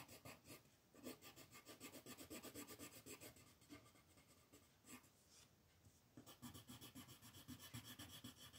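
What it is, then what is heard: Pencil shading on a paper sheet. A pink colored pencil shades a flat white paper mandala sheet in continuous strokes, making a steady, bright scratching and rubbing rasp. The quick strokes repeat at a brisk, uneven rhythm, ease off briefly near the middle, then pick back up.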